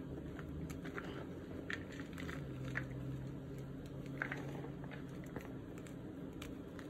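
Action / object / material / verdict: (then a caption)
scrape / block gym chalk (magnesium carbonate) in a plastic basin / magnesium carbonate / none. Bare fingertips and palms press, crumble and rub through crushed gym chalk (magnesium carbonate) in a large green plastic basin holding crumbled white chalk with small colored bits and one intact white chalk block. A steady, low, dry crunching runs throughout, with soft crackles and brief brighter crisp snaps as the powdery solid is crushed.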